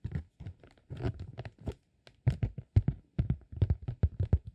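A flat green honeycomb beeswax sheet, held against the body, is rubbed and scratched with the fingertips. Short, irregular bursts of dry, crackly scratching and crinkling follow one another with brief silent gaps. The sound is weighted toward a dull low thump, with almost no ring after each stroke.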